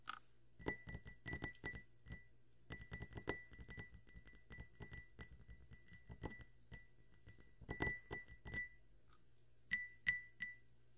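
A drinking glass is tapped alongside carbonated water, giving clear, bright clinks with a ringing tone near 2 kHz. The taps come in quick bursts with brief pauses between them, over a faint steady low hum.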